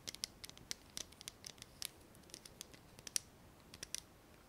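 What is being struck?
Plastic lighter.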